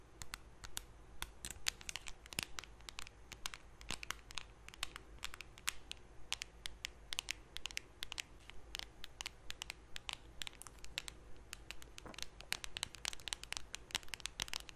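Long nails scratch across the printed lid of a closed, small round blue metal Nivea cream tin. The clip is a quick, uneven stream of short, bright, crisp scratches that stop dead with no ring, over a faint steady low hum.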